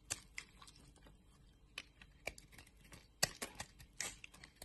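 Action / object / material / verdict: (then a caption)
scrape / solid soap bar / soap / none. An orange solid bar of soap is shaved with a box-cutter blade, flakes breaking off. Eleven short, dry, crisp scrapes and ticks, bright and quiet, are heard with soft faint scratching between them.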